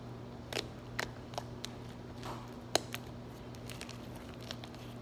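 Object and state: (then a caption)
Slime. Fingertips poke a soft lavender slime blob on a granite countertop, then press and fold it flat. This produces irregular, sharp crunchy pops and crackles with bright snaps, one standing out louder than the rest. A steady low hum runs underneath throughout.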